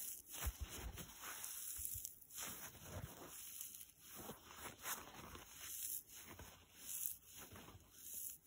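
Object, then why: Foam kitchen sponge with nylon scour pad. A dry blue foam kitchen sponge with a green nylon scour side is bent, squeezed and scratched with fingers and short nails. The result is a steady run of crisp, scratchy crackling with soft rubbing swells and occasional low thumps.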